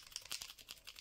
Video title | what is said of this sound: QUELS MATERIELS pour donner du FUN à vos COLORIAGES? Effet doré, paillettes, glossy... | shake it and then you hear the ball which allows the paint to mix well inside your marker